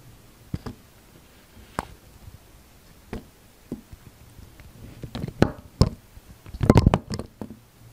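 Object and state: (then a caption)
Bar of soap being cut and scraped. A utility knife blade cuts and scrapes thin slices off the surface of a solid, dark grey translucent soap bar held in the hand. Short, dull, low scraping snaps come scattered at first, then more often and louder toward the end with a dense cluster of cuts, each dying away almost instantly.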